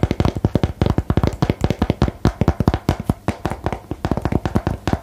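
Fingernails tap rapidly on a small printed "Geheimakte" cardboard game box held close beside the microphone. The taps come as a quick, steady stream of short, dry, hollow knocks that are mostly low and thuddy, with each one dying away almost instantly.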